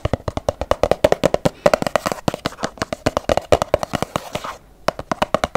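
Long yellow nails tap quickly on a filled, medium-size pink Lumene cleansing cream plastic tube, making a rapid run of about forty short, dry clicks with a hollow, woody tone around 580 Hz. The taps have almost no ring, with a faint rustle between them and a brief pause just before the end.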